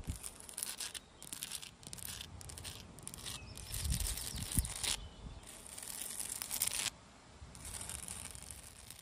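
Long dark red nails scratch and tap on a large, solid, rough granite boulder outdoors. Bursts of bright, raspy scratching come and go over a low, soft rumble, with a few quick taps standing out in the middle.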